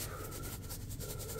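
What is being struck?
Nothing is struck.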